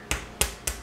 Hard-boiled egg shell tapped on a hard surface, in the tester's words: tap it down until you hear the egg crack